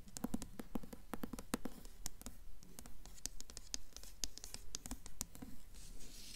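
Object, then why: Paperback book with glossy paper cover. A blue paperback copy of The Golden Compass with a glossy paper cover, made of solid paper, is held upright in both hands and turned slightly while long acrylic nails tap and scratch the cover. Quick, crisp clicking taps come at a brisk, fairly steady pace, mixed with short scratchy rubs and a soft, dull body beneath them.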